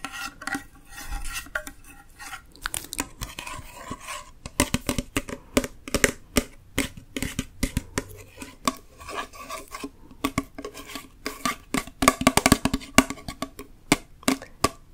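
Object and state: Full tin soup can.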